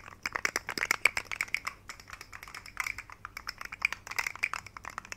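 A hand-sized, rainbow segmented plastic fidget slug toy with hollow jointed segments is held up by the fingertips and wiggled and shaken. Its segments click together in a rapid, irregular run of dry, bright clicks with no ring. The clicks come in bursts and then thin out across the clip.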